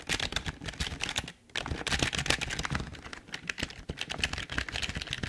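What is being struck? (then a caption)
Plastic computer keyboard. Both hands type with their fingertips on a full-size, hollow black plastic Logitech keyboard, making a rapid stream of bright, clattering key clicks. The typing runs steadily apart from a brief pause just before the two-second mark, with each click short and dry.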